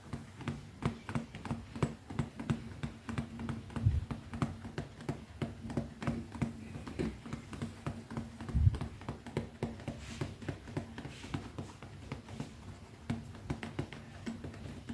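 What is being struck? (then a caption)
Small leather zippered pouch. Fast tapping with long fingernails and fingertips on the top face of a small, closed black pebbled-leather zippered pouch resting on one palm. The result is a steady stream of short, dull, low-pitched taps with almost no ring, over a faint steady low hum.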